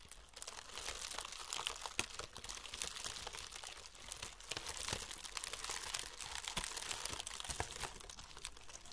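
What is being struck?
Honeycomb kraft paper packing wrap.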